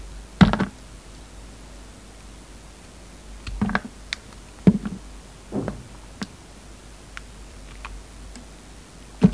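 A utility knife blade slices pieces off a solid pink carved soap rose with green leaves, held between the fingers. Each cut makes a short, dull, low thunk with a soft scraping crackle, coming in irregular bursts with faint ticks between them against a quiet background.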